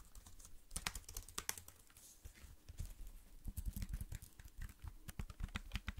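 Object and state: Plastic computer keyboard.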